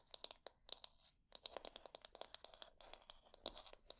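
Long dark nails scratch and click over a light wooden paddle hair brush with wooden bristles and a solid handle, working across both the bristles and the back and handle. The result is a quick series of dry, bright ticks and crisp scratching with almost no low end. Each sound stops dead, with a short pause about a second in before the scratching picks up again.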